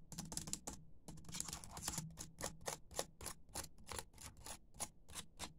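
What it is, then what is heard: Plastic laptop keyboard. Fingertips and nails type on a dimly lit laptop keyboard with black plastic keys. Rapid, irregular keystrokes make short, bright plastic clicks and taps over a faint low hum, with a brief pause about one second in.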